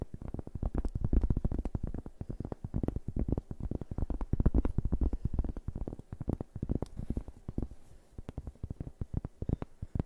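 A large, round, flat, thin solid cork board held in both hands is tapped and scratched with fingertips and nails. Rapid, dense, dull, muffled taps sound mostly low, with very short decay and faint scratchy texture between them.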